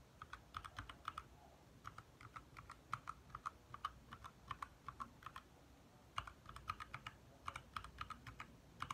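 A compact 60% backlit mechanical keyboard with lit plastic keycaps is typed on by both hands, the fingertips making fast taps on the keys. The result is a steady run of short, crisp clicks, each centered near 1.3 kHz with a bright top. The clicks fall in quick bursts with brief pauses between them over a faint low background hum.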